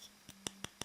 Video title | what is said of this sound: Antrum Wood Simple : la montre qui se paye un arbre ! | quand je tape dessus, là, ça sonne un petit peu plus creux, parce que le verre est peut-être un petit peu fin